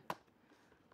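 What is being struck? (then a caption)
Plastic motorcycle helmet shell. Two sharp taps on the plastic outer shell of a Grayfosh G3838 flip-up motorcycle helmet, each a short, dry knock centered around 500 Hz with almost no ring. The shell is judged to feel less sturdy than previous helmets but in keeping with its low price.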